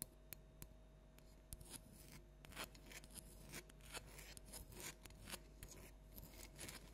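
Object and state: Plastic toy pumpkin tapped with nails.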